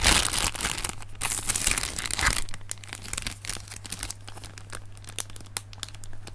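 A clear, lightweight, hollow plastic air-filled packing cushion from an Amazon parcel is squeezed and crinkled between fingertips over a leaf-print fabric surface. Dense, bright crinkling rushes dominate the first couple of seconds, then thin into sparser sharp crackles and ticks. A steady low hum sits underneath throughout.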